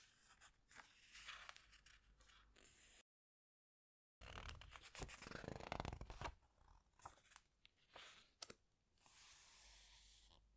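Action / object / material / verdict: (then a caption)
scrape / glossy paper pages of a hardcover book / paper / none. Fingertips with long nails press and squeeze the glossy paper pages of a large open hardcover book, then turn a page. Crisp, crinkly scratches and rustles come in quick, uneven bursts, broken by a brief silence. A louder, fuller sweep of rustling marks the page turn before the quieter squeezing and tapping resume, ending in a soft, bright hiss.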